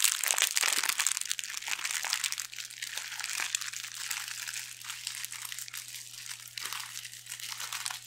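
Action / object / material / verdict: scrape / thin metallic foil pouch / metal foil / none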